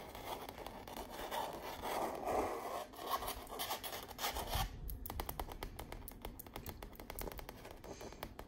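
Long nails scratch rapidly across the painted texture of an autumn stretched canvas wall art print, giving a dense, raspy midrange scrape for the first half. The sound then shifts to a quick run of light, crisp taps and scratches with bright clicky edges that die away almost immediately.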